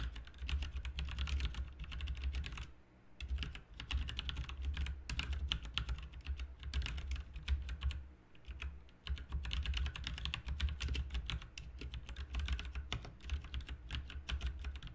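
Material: Plastic.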